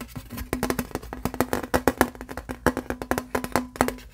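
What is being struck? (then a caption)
Thin aluminum license plate. Fingertips and nails tap and scratch the raised letters of a thin, embossed aluminum license plate held upright, with its bare silver back showing. A quick, irregular run of crisp metallic taps follows, each with a faint low tinny ring that dies away almost at once, over light scratchy rustling.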